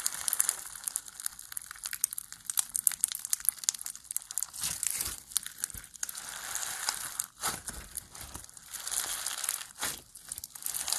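A large, soft rainbow lump of foam bead slime (floam), packed with small polystyrene foam beads, is held, squeezed, pulled apart and kneaded with bare fingers. The result is a dense, continuous stream of bright, crisp crackling and crunching clicks, mostly in the high range with almost no low end. Several louder crunchy bursts stand out around the middle and near the end.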